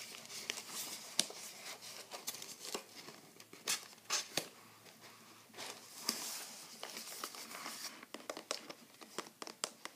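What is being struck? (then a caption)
Small cardboard box. Fingertips scratch and tap the lid and sides of a small, flat, light-blue printed Skoshbox cardboard box, closed and held in both hands as it is turned over. Dry, bright scratching and crinkling is heard, broken by many short, sharp taps that die away almost at once, with hardly any low end.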